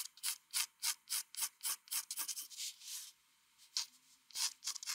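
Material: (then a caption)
Paper. A mechanical pencil rubs fast, repeated hatching strokes across a flat white drawing paper sheet for shading. Each stroke is a dry, bright, scratchy rasp with no low end, in a quick uneven rhythm. The strokes pause briefly just after the three-second mark, then resume.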